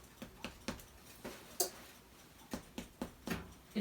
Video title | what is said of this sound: How To Make No-Knead Delicious Challah Bread and a Blooper at the end (7) | tap it with your finger and it sounds hollow it's done